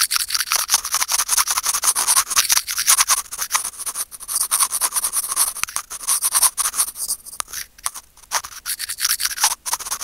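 Curved steel tweezers scratch rapidly and continuously across a small, hollow, white plastic earphone mic remote. The result is a dense, bright, crackling scrape, heavy in the high range with almost no low end, broken by a few brief pauses.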